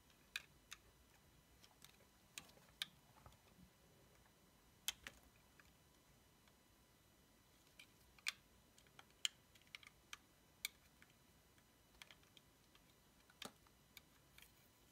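A blade shaves thin slices off a small block cut from an orange bar of soap, making about fifteen short, sharp, bright clicks spread irregularly across the clip. Each click dies away almost instantly over a faint, quiet hiss.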